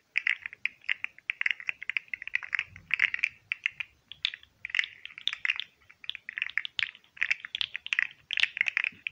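Fingertips bend and click the segments of a hand-sized, hollow, green and white articulated plastic fidget slug toy. The result is a rapid, uneven stream of sharp, bright plastic clicks in bursts, centered around 2–3 kHz with almost no low end, each click dying away instantly.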